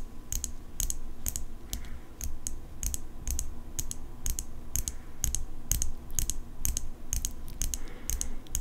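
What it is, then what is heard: Steel folding pocket knife. Long acrylic nails tap the flat of the steel blade on an open folding pocket knife with a metal handle. A quick, irregular series of short, sharp, bright clicks plays over a steady low hum, each tap dying away almost instantly.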